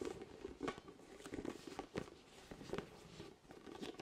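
A large orange hollow inflated vinyl spiky ball with nubs is tapped with fingertips close to the mic. Soft, quick taps with a hollow plastic knock sound over a quiet, continuous rustle, with brief, dry decays.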